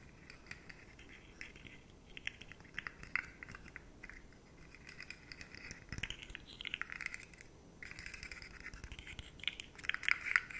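Long nails scratch the segment edges of a rainbow rigid plastic articulated slug fidget toy held upright, first in close-up and then at arm's length. The result is a dense run of quiet, dry, bright scratching and rapid ticking that rises and falls in short bursts, with sharper clicks standing out near the end.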